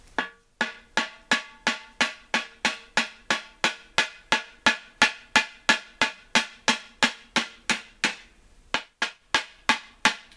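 The inside of a large, hollow, empty unglazed terracotta flower pot, set upside down on a workbench, is struck 29 times with a hand-held metal chisel-like tool. Each blow gives a sharp, bright knock against the clay wall, centred near 1.7 kHz, with a very short ring and no low end. The knocks come at a steady, quick pace, with a brief pause near the 8.5-second mark.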